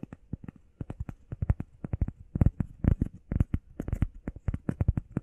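Long painted nails and fingertips tap and scratch quickly on a flat, solid, grey textured EVA foam workout pad shaped like a heart and about the size of a hand. Around thirty soft, dull, low thuds come in a rapid, uneven patter, each dying away almost instantly with faint scratchy edges.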